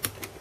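A metal pin of a desoldered SRAM chip on a Famicom board is lightly flicked at its end. Two small, bright clicks are heard as the pin springs back, showing the solder is cleared and the pin is free.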